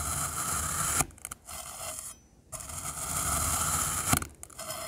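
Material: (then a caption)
Kinetic sand. Solid black glittery kinetic sand cylinders are cut and crumbled with a rainbow metal knife, producing rasping, gritty slicing scrapes with bright hiss. Dense scraping runs for about a second, breaks off into a few brief crumbling taps and a near-silent pause, then resumes, with a sharp cut around four seconds into the clip.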